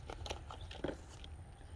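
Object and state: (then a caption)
Dry pea pod with mature seeds rattling. A dried purple pea pod that has almost gone to seed is shaken, and the seeds inside rattle in a quick series of dry, crisp clicks over a low background rumble. The rattling shows the seeds are mature and ready to be replanted.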